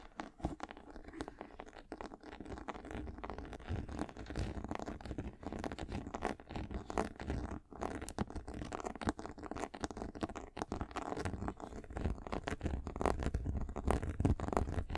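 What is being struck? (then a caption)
Leather sneaker upper. Long acrylic nails scratch and scrape the white leather upper of a high-top sneaker near the ankle collar. The result is a steady, irregular stream of short, dry, muffled scratching strokes, weighted toward low tones with almost no bright edge.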